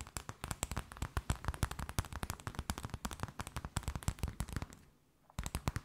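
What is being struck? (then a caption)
Thin flexible plastic sheet. A transparent, flexible plastic sheet or bag, held curved between the hands, is tapped and crinkled with long nails. A rapid, uneven run of sharp, crackly taps with dull low thumps underneath carries on for about five seconds, pauses briefly, then resumes.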